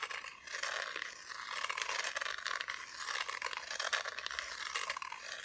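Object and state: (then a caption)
Wooden Christmas decoration. Long nails scratch the raw wooden back of a solid, flat, thin plywood Christmas decoration cut into two figures and a tree. The result is a continuous dry, rasping scrape, centered around the upper midrange with bright, hissy detail above and almost no low end.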